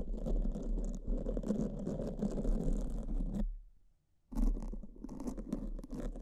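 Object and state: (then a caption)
Foam microphone windscreen being brushed. Pink silicone spoolies brush in strokes across black foam microphone windscreens, making a dense, low, scratchy rustle with a faint bright fizz on top. The scratching fades out into a brief near-silent gap around the middle, then starts again just as loud and continues to the end.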